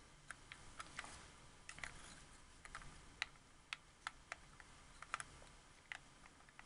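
A white, hollow, hard-plastic wireless Xbox 360 controller has its buttons and thumbsticks rapidly clicked and tapped with fingertips and nails. About 17 short, sharp, bright plastic clicks stand out over a quiet, steady hiss. Each click stops almost instantly, with no ring.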